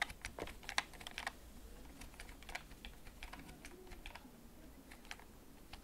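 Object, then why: Plastic computer keyboard. Fingertips type slowly on a backlit, hollow plastic gaming computer keyboard held at an angle. About twenty-one light, irregular clicky key taps sound, brightest and loudest in the first second and a half, then softer. Each tap is short and dry over a low steady hum.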